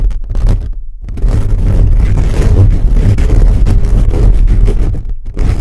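Fingertips and nails of both hands scratch fast across a hollow black metal mesh microphone grille. The result is a dense, rumbling scrape dominated by deep low-frequency thumps, with brief quieter dips near the start and end.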